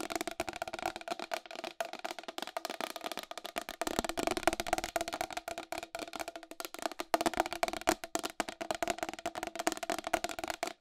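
Long acrylic nails tap fast on the rim and face of a round white plastic wall clock with a hollow case. The result is a rapid, unbroken stream of short, dry clicks with a hollow ring centered around 660 Hz, plus a light bright edge and almost no low end.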